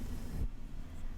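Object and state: Nothing is struck.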